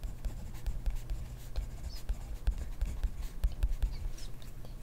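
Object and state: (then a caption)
Pen writing on a paper notebook. A pen tip, ballpoint or gel, writes continuously across an open grid-ruled paper notebook lying flat on a desk. The clip is a steady, soft scratching with many short taps and strokes, heavy in low rumble and with faint high scratches.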